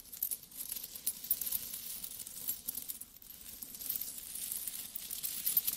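A small stack of solid metal coins is rubbed, then flat hands with long nails rummage through the pile. The result is a quiet, continuous, bright metallic clinking and shuffling with no ringing tail.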